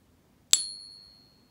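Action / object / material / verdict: tap / silver bullion coin / silver / real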